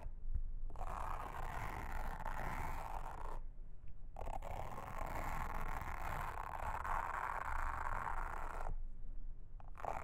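A pink mascara spoolie brush, held in a hand with long red nails, brushes and scratches across a round blue silicone trivet mat with a honeycomb texture lying flat on a table. The result is a steady, soft, scratchy rustle centered in the midrange over a low rumble, in long continuous strokes separated by brief pauses.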